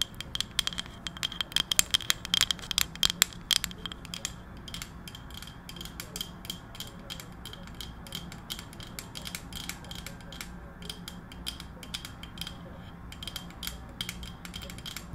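A round, flat, palm-sized solid wooden coaster with visible wood grain is held up and tapped and scratched with long decorated acrylic nails. Rapid, sharp, bright clicks and ticks come densely at first and thin into lighter, steadier tapping with scratchy texture over a faint low hum.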